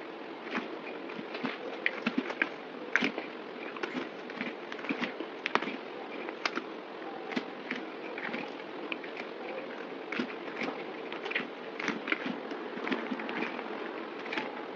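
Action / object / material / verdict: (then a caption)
scrape / solid bar soap cut with a blade / soap / none. A partly carved solid white bar of soap, held in the hand, has flakes scraped and cut off it with a yellow box cutter blade. A steady dry scraping hiss runs throughout, broken by many short crisp clicks and ticks as the blade bites and chips come away.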